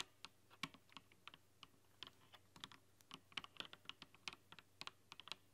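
Long nails type rapidly on a rainbow-lit mechanical keyboard with plastic keycaps, producing about 26 sharp, bright clacks with almost no ring. The clicks come in uneven bursts over a faint, steady low hum.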